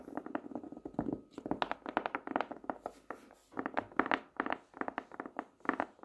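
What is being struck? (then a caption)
Hardcover notebook, cardboard cover. Long nails tap and drum on the cover of a plaid hardcover notebook, first held upright and then lying flat. About thirty quick, dry, hollow taps come in uneven bursts, centered in the mid range with almost no bass or ring.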